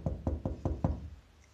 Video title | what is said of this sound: Behind the scenes at Normanby Hall: Secrets of the Regency Bedroom | you hear that that's hollow there so that's a false wall that's been put in